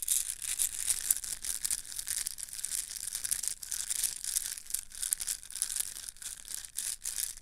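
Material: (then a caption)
Plastic. A yellow plastic link chain is bunched into a ball and crushed and rubbed between both hands. The links clack and crackle in a steady, dense stream of bright, high rattling with little low end.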